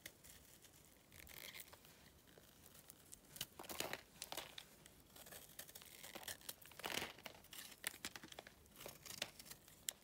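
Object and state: Dry clay chunk.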